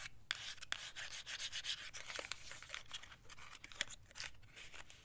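Long acrylic nails scratch and rub the surfaces of a small, square, black and white printed cardboard box for a compact held in the hands. The result is a dry, hissy scraping concentrated in the upper frequencies, broken by sharp, brief clicks scattered irregularly through the clip.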